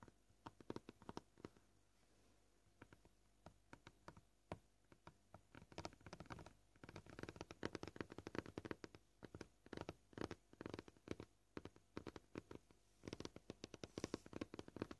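Fingernails of both hands tap a flat, solid white plastic cutting board with scratches on its surface. The taps are quiet, short and dry, coming at a varied pace: scattered single clicks at first, then denser rapid bursts in the middle and near the end.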